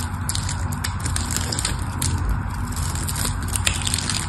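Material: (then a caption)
Soap. A metal blade scores and cuts small cubes from a solid pink-and-white striped bar of soap. The result is a steady, dense crunching and crackling with sharp, bright clicks over a heavy low rumble. The loudness stays even throughout, with no clearly separated hits.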